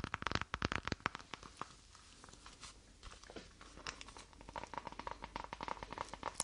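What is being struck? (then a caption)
Faux leather wallet. A small, flat, lilac-grey faux leather wallet or clutch is held in both hands and tapped and scratched with long painted nails. Quick, crisp taps and dry, crinkly scratching fill the clip, easing into softer, sparser scraping in the middle before dense tapping picks up again toward the end.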